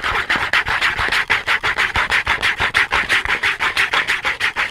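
A small cardboard soap box, held flat in both hands, has its face quickly scratched and rubbed with the fingernails. This makes a steady run of dry, papery rasping strokes, about two per second, bright and centered around 2 kHz. Each stroke is short, with little low end.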